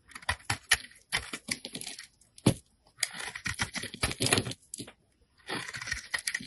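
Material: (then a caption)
Soap. A blade scrapes thin layers off the face of a solid rectangular yellow soap bar with a red-glitter edge, held in fingers with painted nails. Dry, crisp scraping comes in quick clustered bursts with brief pauses, bright and hissy with soft low thumps beneath.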